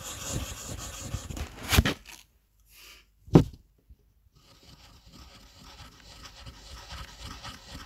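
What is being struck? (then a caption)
Colored pencil on a paper sheet. A teal-blue wooden colored pencil, held in the fingertips, rubs and scratches its tip across a flat, thin white paper coloring page lying on a table. Dense, dry scratching fills the first two seconds, broken by two sharp, louder scrapes near 1.8 and 3.4 seconds with near-silence between. Softer, steady rubbing strokes then continue to the end.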